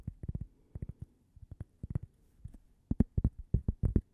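A small, thin, solid cork coaster shaped like a slice of toast is held up and tapped with long painted nails. The result is quick clusters of soft, dull, low taps that stop dead with no ring, growing slightly louder and denser toward the end.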